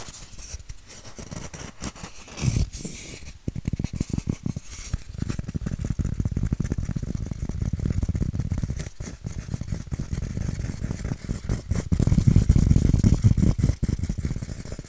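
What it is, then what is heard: Styrofoam form scratched. A white styrofoam shape is held upright and scratched with fingernails. The result is a dense, uneven run of quick, dry scratches with a dull, low-heavy tone and almost no ring, swelling louder near the end.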